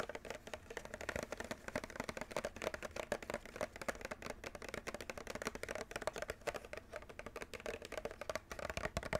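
Fingernails tap quickly on the top and front of a white and clear plastic clamshell package holding a Nintendo Switch controller. The result is a fast, steady stream of light, dry clicks with a hollow plastic tone around 580 Hz, each dying away almost instantly.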